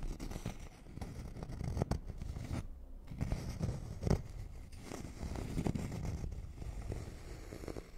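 A thin, flat, solid wooden notched trowel board is held in one hand while fingernails scratch and tap along its notched edge and face. The result is a quiet, low-heavy rasping scratch broken by soft, dull taps that die away instantly, with a brief lull near the middle.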